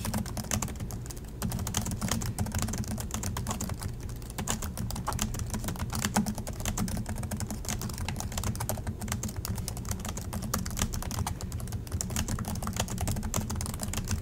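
A silver Acer laptop resting on a desk has black plastic chiclet keys, and both hands type on it steadily with their fingertips. The result is a continuous stream of quick, bright plastic key clicks over a low, steady hum.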